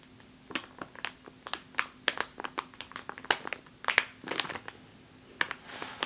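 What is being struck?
Plastic bag of flour.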